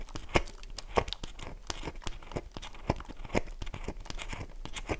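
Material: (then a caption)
Soap. A solid, oval, light-blue dry bar of soap held in the palm has its face scratched with long nails, leaving grooves and flakes. Dense, dry scratching and crinkly tearing sounds come in quick strokes with sharp, brief transients, a low body and some bright edges.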